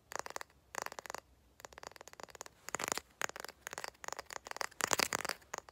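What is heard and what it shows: A wooden candle lid is tapped in quick bursts of dry, clicky taps separated by brief pauses. Each tap is short and bright, with almost no low end and no lingering ring. The bursts grow slightly louder toward the end.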